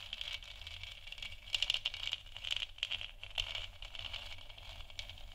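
Long nails tap quickly and lightly on the sides of a large, hollow, 3D-printed plastic moon lamp sphere that is lit white. The result is a dry, bright, rattling patter of clicks with almost no ring, over a faint steady low hum.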